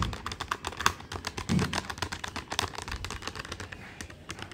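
Fingertips of both hands tap rapidly on the plastic keys of a black plastic desktop calculator with a hollow body. The result is a dense, uneven stream of short, dry plastic clicks with bright attacks and almost no ring, plus a soft low thud near the middle.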